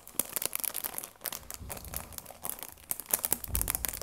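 Flat fingers rub and stroke the cellophane wrap on a cardboard tea box. A quiet, continuous bright crinkling and crackling comes through, with sharp little snaps and soft low thumps as the hand presses and slides over the plastic.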